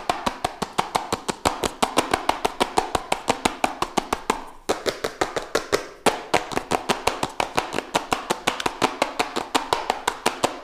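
Fingertips and nails tap fast and aggressively on a small, hollow Redmi Note 7 Pro cardboard smartphone box held close to the mic. About 59 dry, crisp taps with a hollow mid-range knock and bright clicky edges die away almost instantly. The taps come in a quick, uneven stream with brief pauses near the middle.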